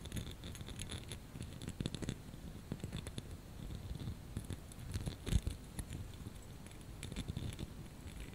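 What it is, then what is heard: Plastic snowflake ornament. A small clear plastic snowflake ornament on a wire hanger is scratched and rubbed with fingernails. The result is a quiet, steady texture of soft scratching and rubbing, with dense, short clicks and light brittle ticks that come through with brief bright edges over a low, muffled rumble.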